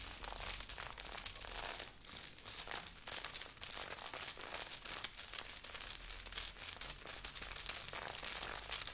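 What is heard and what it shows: Long nails on both hands scratch quickly and aggressively across a grey knit sweater with a beaded, sequined heart on the chest, worn by the person. A dense, bright crinkling and scraping rustle runs continuously, with rapid bursts and almost no low end.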